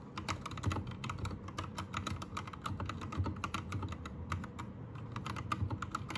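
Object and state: Plastic mechanical keyboard.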